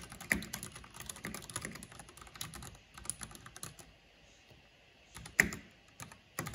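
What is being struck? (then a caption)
Plastic mechanical keyboard. Fingertips and long nails type on a black plastic mechanical keyboard with a purple backlight, tapping the keys in quick, uneven bursts of sharp, bright clicks with a tone near 2 kHz. The typing pauses briefly in the middle, then resumes with a few louder taps.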